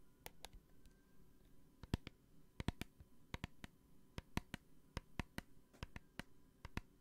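Long nails tap a small clear plastic hand sanitizer bottle with a green flip cap and gel inside, about 24 times. Each tap is a short, sharp click that dies away almost at once, with quiet gaps in between.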